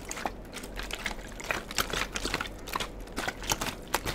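A clear, hollow plastic water bottle with a white cap, partly filled, is handled with the fingertips. It makes a rapid, irregular run of short, bright crinkles and clicky taps, with brief pings near 950 Hz over a quiet, low hum.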